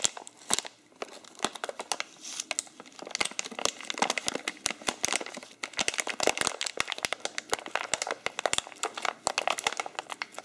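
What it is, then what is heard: Foil-lined coffee bag being crinkled. A printed, foil-lined laminated plastic coffee bag holding ground coffee is held in both hands while its top is unfolded and rolled, crumpling the material under the fingertips. The result is a dense, continuous stream of sharp, bright crinkles and crackles with almost no low end, each snap dying away almost instantly.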